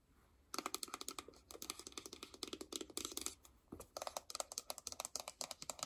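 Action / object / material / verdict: tap / paperboard phone box / paperboard / none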